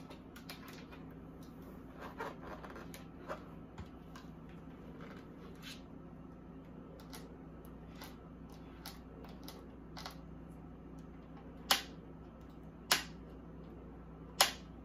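Long acrylic nails tap and scratch the ribbed plastic back panel around the vent grille of a small pink plastic mini beauty fridge, hollow and empty, standing on a granite counter. Soft, bright scratching and light clicks run over a low steady hum, then three sharp, bright taps ring out near the end.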